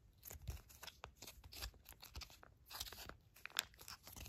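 A small, full Pantene shampoo sachet made of foil-laminated plastic is held in the hand, crinkled and squeezed, then laid flat and scratched with long matte black nails. Dense, bright crackling and crinkling with sharp rustles and quick scratches fills the clip, with a few faint low thumps beneath.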